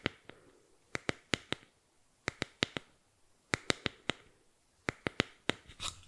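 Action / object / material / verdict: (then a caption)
scrape / small flat bamboo board / bamboo / none. Fingernails scratch a small, flat, solid bamboo board held upright above the microphone. The sound is a run of about 17 short, dry, bright clicking scratches in quick groups, each stopping almost instantly, ending in a brief, longer rasping scrape.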